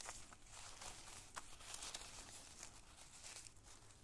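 A handful of small, thin, multicolored tissue paper squares, light and empty, is crumpled and squeezed in the fingers and fist above a pile of more squares. The result is a steady, bright, airy crinkling with sharper crackles scattered through it over a faint low rumble.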